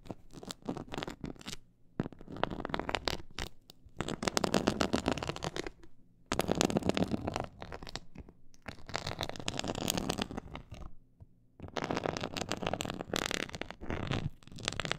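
Long acrylic nails scratch a flat, glossy black faux-leather board with a raised diamond quilted texture, about the size of a large panel, lying on a pink fur rug. Dense, raspy scratching comes in bursts of a few seconds separated by brief quiet gaps, with a bright crackly edge over a soft low rumble.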